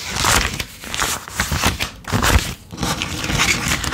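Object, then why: Paper banknotes. Both hands thumb through a wad of worn US $10 paper bills, flicking and counting them before dropping them onto a pile on a dark table. The sound is a steady run of dry, bright paper crinkling and crackling in overlapping bursts, with soft low thuds as the bills land.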